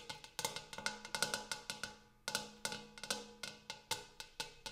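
A large, empty, hammered brass-colored metal bowl is tapped rapidly with fingernails on its inner surface and rim. About 21 quick, bright metallic ticks each ring briefly, with a tone near 1.5 kHz and a faint lower hum around 200 Hz. A short pause comes about halfway through.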